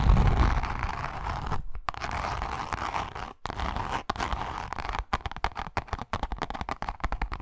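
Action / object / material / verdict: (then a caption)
scrape / grained leather wallet / leather / none. Long nails scratch and tap the face of a pink, grained leather wallet. A dense, rustling scratch runs for the first few seconds, then breaks into quicker, irregular taps with brief silent gaps between them. The sound is dry, with a low rumbling body and a soft papery texture in the mids.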